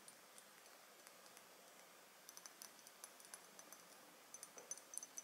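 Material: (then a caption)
Glass. A Bvlgari Jasmin Noir dark glass bottle with a gold metal cap is held in the hands and tapped with long nails on the bottle and the cap. The result is quiet, crisp, high-pitched clicks with almost no ring, sparse at first and then coming faster and slightly louder toward the end.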